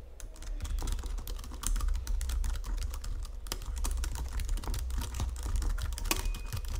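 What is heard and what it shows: Fingertips and nails type continuously on the plastic keys of a full-size white Logitech keyboard resting on a marble surface. The result is a steady stream of quick, dry clicks and taps with bright edges and almost no ring, over a constant low hum.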